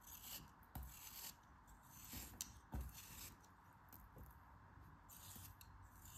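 A craft knife blade slices and scrapes through a solid dome-shaped pink kinetic sand block held in the hand. Soft, gritty rasping and crumbling sounds carry a bright hiss, broken by a few brief low thuds as the blade catches and pulls through.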